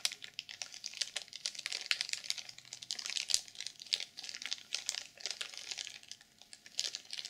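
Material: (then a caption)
Plastic film. A black sequin-covered journal, sealed in clear plastic film and lying flat, is scratched across its wrapped cover by long purple nails. The result is a dense run of quick, bright crinkling and scratching clicks, each dying almost at once. There is almost no low end.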